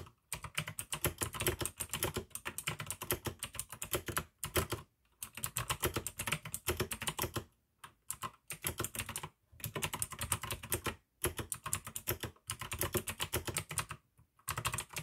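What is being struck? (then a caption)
Plastic mechanical keyboard with clicky switches. Continuous two-handed fingertip typing on a full-size pink AUKEY mechanical keyboard with plastic keycaps and clicky blue switches, producing dense, bright clacking keystrokes with a low thud beneath each press. Bursts of rapid typing are broken by several short pauses of silence.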